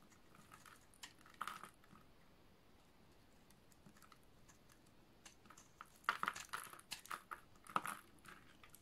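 A snap-off utility knife blade shaves the edge of a solid, dry, yellow oval bar of soap, breaking off crumbly, crunchy flakes. Quiet, dry scraping crunches come in scattered short bursts, with a brief cluster near the start and a louder, denser run of crisp, bright crackles toward the end.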